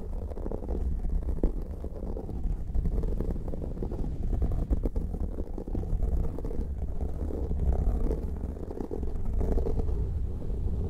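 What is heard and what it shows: Fingertips and nails of both hands scratch and rub two identical soft, porous black foam windscreens covering the heads of studio microphones. The result is a steady, muffled rumbling and scraping, heavy in deep low frequencies with almost no bright content. It carries on without a break for the whole clip.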